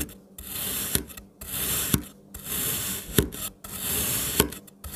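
A kitchen knife cross-chops an already sliced, solid pink kinetic sand strawberry shape into small pieces, the blade pressing and cutting through the packed sand. Each stroke gives a long, gritty, bright rasp ending in a short, sharp tap as the knife reaches the surface underneath, repeating in a loose, uneven rhythm.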